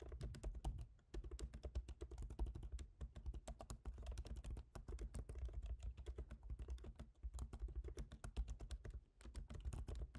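Both hands type rapidly with their fingertips on a MacBook Pro keyboard, its black plastic keycaps set in a silver aluminum body. The result is a dense stream of short, dry key taps with a soft low thud under each press, broken by a few brief pauses of about a second before typing resumes.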